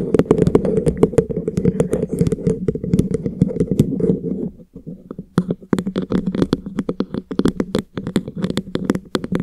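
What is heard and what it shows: Fingertips rapidly tap and trace over a tall, hollow, frosted translucent plastic drinking bottle with printed time markings, its fill level not visible, held in front of the face. The dense, soft, hollow knocks have a warm low-mid body and very short decay. They ease to quieter tracing around the middle, then resume as crisp, brighter tapping.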